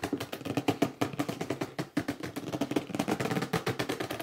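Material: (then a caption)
Cardboard. A hollow, upright red cardboard box is scratched along its top edge by fingertips while palms grip and rub its sides. The result is a rapid, dense run of short, squeaky scratches and dull taps with a boxy mid-low resonance. Each sound dies away almost instantly.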